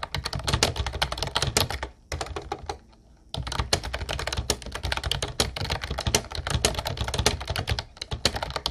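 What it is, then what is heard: Plastic typewriter-style keyboard being typed on. Continuous fingertip typing on a mint-blue plastic Ubotie retro typewriter-style keyboard with round white keycaps produces rapid, bright clicky keystrokes over a low plastic thock. The typing pauses briefly to near-silence around two to three seconds in, then resumes at the same steady pace.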